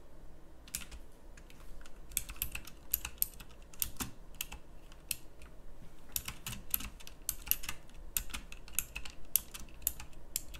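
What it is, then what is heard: Plastic mechanical keyboard. Fingertips with long nails type steadily on a pink backlit mechanical keyboard with round plastic keycaps. The rapid keystrokes are sharp, bright plastic clicks that stop almost instantly, with a few louder taps standing out over a faint low background hum.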